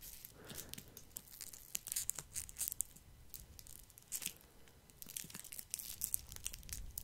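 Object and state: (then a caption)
Foil-wrapped chocolate, wrapper crinkled. Fingers crinkle the red plastic or foil twist wrapper of a single small foil-wrapped chocolate truffle held between them. The result is a quiet, dense run of bright, crisp crackles and rustles in irregular bursts, each snap dying away almost instantly.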